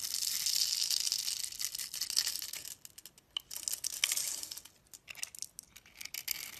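A metal utility knife blade scores a solid, hand-sized orange and yellow striped soap bar held in the palm into a grid, then scrapes and cuts it so crumbly soap cubes break off. The sound is a bright, dry crackling scrape, steady for the first few seconds, then broken into short crisp bursts with quiet gaps between them.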